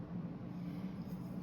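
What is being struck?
Nothing is struck.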